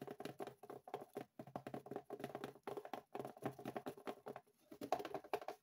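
Long painted fingernails tap and scratch a small, hollow, taped brown cardboard shipping box resting on a wooden desk. A quick, uneven run of short, dry, hollow taps in the midrange is heard, mixed with light scratching and brief pauses. The taps decay almost immediately, with little deep or bright tone.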